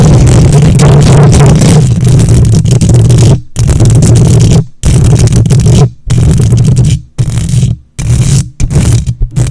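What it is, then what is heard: Metal microphone grille being scratched. Long nails on both hands scratch the hollow metal mesh grille of a silver condenser microphone. The result is a loud, dense, rumbling scrape heavy in low frequencies, coming in long bursts broken by brief silent gaps that grow shorter and choppier toward the end.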